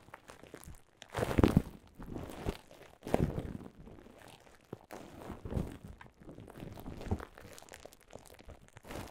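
Long nails scratch across a clear mound of plastic bubble wrap, then fingertips tap and press the bubbles. Soft crinkling and crunching come in uneven bursts, loudest near the start, with a dull, low-heavy tone and little brightness.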